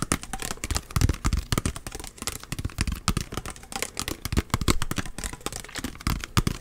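A small clear plastic bottle, partly filled with orange liquid and with a blue cap, is held in one hand and tapped rapidly with the fingertips and nails of the other hand. Quick, irregular, crisp tapping clicks come close together, with soft low thumps underneath and bright sharp edges on each hit. The taps die away almost instantly.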